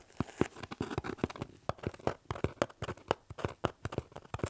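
A medium hollow corrugated cardboard shipping box is held up and turned while fingertips tap and scratch its surface. About two dozen quick, dry taps with low hollow thumps and papery scratching come in an irregular pattern, each dying away almost instantly.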